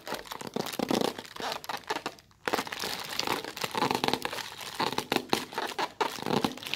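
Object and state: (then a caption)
Thin plastic bag. A thin white plastic carrier bag with a printed logo is held close and crumpled and crinkled between fingertips with long red-painted nails. Dense, crisp crackling and rustling fills the clip in rapid bursts, bright with almost no low end, broken by a brief near-silent pause just past two seconds before the crinkling resumes.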